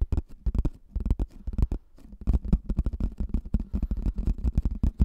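Fingertips and nails slowly tap and scratch the top surface of a hollow pink plastic frisbee, about 20 cm across, held near the mic. A dense run of short, dull, low thumps comes through, each dying away almost instantly, with faint brighter scratchy clicks between them and a brief quieter patch partway through.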